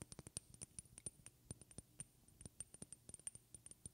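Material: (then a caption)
Glass. Long red-painted fingernails tap rapidly on a small, partly filled glass perfume bottle with a white cap. The result is a quiet, quick run of crisp clicks, each with a brief high, glassy ping that dies away almost instantly.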